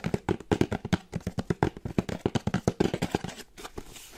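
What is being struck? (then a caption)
Small cardboard box. A small plain brown kraft cardboard box with a barcode label is held in one hand while long painted nails tap quickly on its top and sides. The result is a fast run of short, dry, hollow taps with a low-mid body and almost no ring. Toward the end the taps thin out into softer scratchy rustling.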